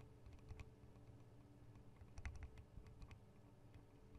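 Long acrylic nail tips rapidly tap the metal guard wings and microphone capsules of a Tascam DR-40 recorder. The result is a quiet, quick patter of sharp clicks over a dense, low rumbling thud, with a few brighter, louder taps standing out near the middle.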